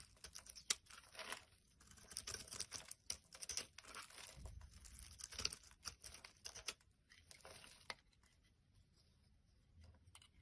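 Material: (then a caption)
Soap. A metal blade scrapes a solid, hand-sized, cream-white bar of soap, peeling off flaky shavings. The sound is a quiet, bright run of crisp scraping and crinkly crunching strokes in quick, uneven bursts, thinning out toward the end.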